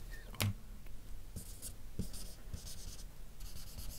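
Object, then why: Felt-tip marker on paper sheet. A dark felt-nib marker rubs shading strokes across a map drawn on a flat sheet of white paper. Soft, bright scratchy bursts come and go over a steady low hum, with a sharper tap near the start.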